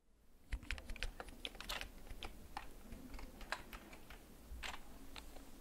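Fingertips slowly press the keys of a black plastic backlit mechanical gaming keyboard. Each press makes a short, dry clack with a bright top, set over a low steady hum. The keystrokes come in an uneven, unhurried rhythm throughout.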